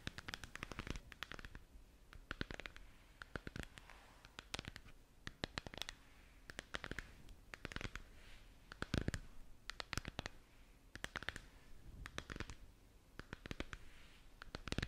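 Long nails from both hands tap and scratch a hollow, glowing plastic moon lamp sphere held up in front of the face. Quick, dry clicks and bright scratching come in dense clusters with short pauses between them, each tap stopping almost at once over a low, steady background hum.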